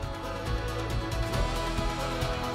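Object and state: Nothing is struck.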